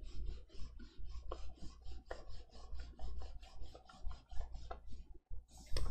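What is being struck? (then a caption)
Plastic stylus on a matte pen-display screen. A plastic stylus held in the fingers is dragged across the matte screen of a large XP-Pen Artist 15.6 Pro pen display, a flat electronic tablet, in short drawing strokes. The strokes make a string of soft, raspy scratching and rubbing sounds with a bright, hissy edge over a steady low hum. There is a brief pause near the end before a louder final stroke.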